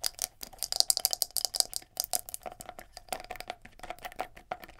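Long nails rapidly tap and scratch a palm-sized black plastic scalp massager brush, working over both its hard plastic body and its silicone bristles. The result is a fast, dense run of short, dry, bright clicks and scratchy rasps with almost no low end. The clicks are loudest in the first half and keep going in quick bursts throughout.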